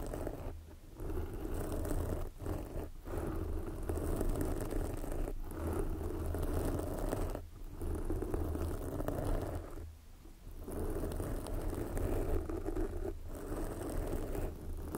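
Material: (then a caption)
Foam. Long glossy black fingernails on both hands scratch a soft, porous red foam windscreen covering a microphone. The result is a dense, continuous scratchy rustle with a heavy low rumble, broken by a few short pauses where the sound briefly drops away.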